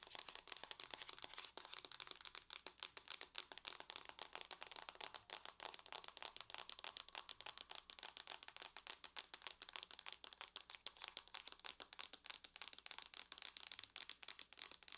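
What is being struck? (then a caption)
Aluminum laptop lid. Long nails tap quickly on the lid of a closed silver aluminum laptop. A dense, continuous stream of crisp, bright clicks with almost no low end, each dying away almost instantly, plays at a soft level throughout.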